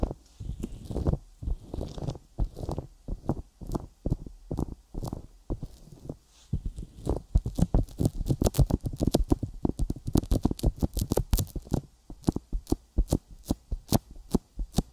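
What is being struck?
Silicone ear of a binaural microphone.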